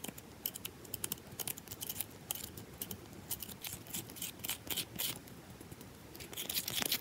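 Long nails scratch fast across a rectangular, solid bar of soap with a carved, scratched surface, held in the hand. Quick, dry, bright scratching bursts come in an irregular rapid stream over a faint low rumble, growing louder near the end.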